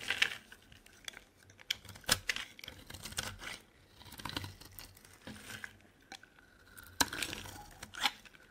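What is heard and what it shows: A solid dry purple soap bar is scraped and carved with a metal blade, producing crumbly shavings. Bright, crisp scraping and crackling strokes come in irregular bursts with a few sharp clicks, and there is little low end.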